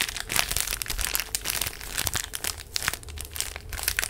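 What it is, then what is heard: Plastic-wrapped tissue pack, crinkled. A full, small rectangular pack of paper tissues in a printed plastic wrapper is held in both hands close to the microphone and squeezed and crinkled with fingertips and long nails. A continuous stream of bright, crackling plastic crinkles fills the clip, with sharp clicks and snaps rising above a soft low rustle.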